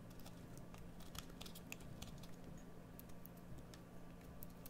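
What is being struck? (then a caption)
Solid bar of soap cut with a metal blade. A metal blade carves a solid green bar of soap with short scraping cuts. Quick, bright crisp scrapes and ticks come in irregular succession over a steady low hum.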